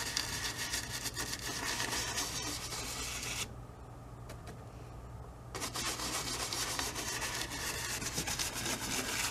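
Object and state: Brush scrubbing on stretched cotton canvas.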